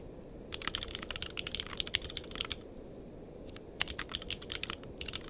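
Fingertips type on a compact mechanical keyboard with a purple case and plastic keycaps, with a microphone nearby but not touched. Rapid, bright clicky keystrokes come in two bursts, from about 0.5 to 2.6 seconds and again from about 3.8 seconds to the end, with a brief pause between. Each click is short and dry over a low, steady background hiss.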